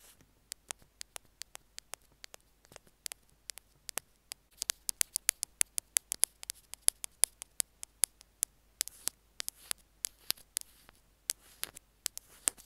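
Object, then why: Small plastic earphone remote tapped with metal picks. Two metal ear-pick tools tap and scratch the casing of a small white plastic earphone mic/remote. Dozens of very short, sharp, bright clicks follow one another in an uneven patter, with faint scraping between them. Each click dies away almost instantly, with almost no low end.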